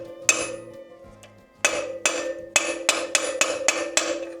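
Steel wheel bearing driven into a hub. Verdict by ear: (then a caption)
Seated. A new steel front-wheel bearing on a Beta RR350 enduro bike is hammered into the hub with a large socket on its outer race, giving nine sharp, bright metallic knocks with a short ring. The knocking sound changes once the bearing reaches its seat, and it is confirmed fully seated because the lock washer groove is now exposed.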